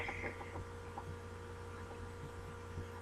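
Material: Nothing is struck.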